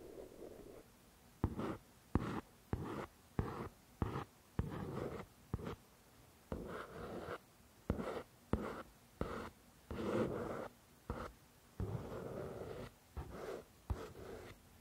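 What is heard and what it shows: A fingertip with a long nail traces and scratches the glossy card cover of a paperback novel, with a microphone nearby left untouched. The result is a series of short, soft, dull scratching strokes, some starting with a light tap, separated by brief quiet gaps.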